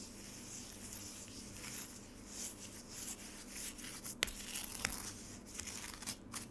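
A metal spoon scrapes and scratches the surface of a solid frozen lemonade slab with shaved ice, held in a black rectangular plastic tray. Soft, steady, gritty scraping fills the clip with bright hiss, broken by two sharp clicks near the four- and five-second marks.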